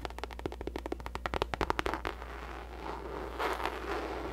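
Long nails tap rapidly on a hollow pink faux leather drawstring bucket bag, making about 19 quick, sharp, dry clicks that speed up and grow louder. The taps then give way to a softer, continuous scratching across the surface, over a steady low hum.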